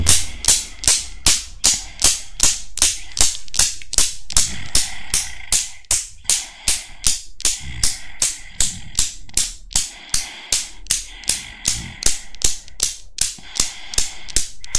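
A small chrome steel Newton's cradle with five solid steel balls is worked by long nails that lift and drop the balls. About 40 sharp metal-on-metal clicks follow one another in a steady rhythm, each a bright, short knock with a brief ring. Low background rumble sits beneath them.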